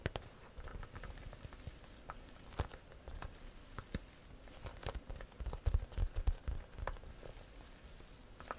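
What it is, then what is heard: Leather handbag tapped and scratched. Long nails tap and scratch the front of a small pale-yellow croc-embossed leather handbag held up in front of the face. The result is a quiet, irregular patter of soft, dull taps and brief dry scratches that die away instantly, with a busier cluster of firmer taps near the end.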